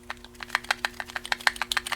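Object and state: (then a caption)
Knife slightly loose in kydex sheath. A Boker Magnum small full-tang fixed-blade steel neck knife is shaken in its kydex sheath to check retention, giving a rapid series of about 14 short, dry, high-pitched clicks. It shows a tiny bit of rattle, a little loose but not bad for such a small knife.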